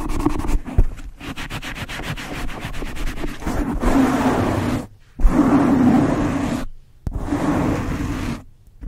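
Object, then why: Foam microphone windscreen. Both hands with painted blue nails scratch and rub a soft, hollow black foam windscreen covering the capsule of a Blue Yeti microphone. Quick, uneven scratching strokes give way to longer, deep, muffled rubbing bursts that are heavy in the low end and carry almost no bright content. Brief silences break up the rubbing.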